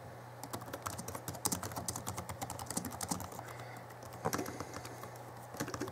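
Both hands type rapidly with their fingertips on the backlit chiclet keyboard of a 2011 Alienware M11x2 laptop, which has plastic keys. A quick stream of short, light plastic key taps with brief bright clicks rides over a steady low hum, with a brief pause before the typing picks up again near the end.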